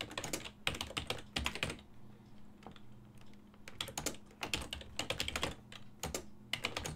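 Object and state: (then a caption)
Plastic computer keyboard. Fingertips tap the hollow key switches of a full-size black and silver plastic ergonomic desktop keyboard while typing. Bright, short clacks come in quick bursts separated by brief pauses, over a faint low hum.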